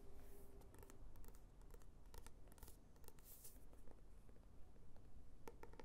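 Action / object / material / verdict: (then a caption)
scrape / paperback book with card cover and paper pages / paper / none. Long nails tap and scratch the glossy card cover of a paperback novel, then the book is opened and its paper pages are handled. The clip is quiet, with a low rumble beneath sharp, bright clicks of the nail taps and soft scratchy rustles from the cover and pages.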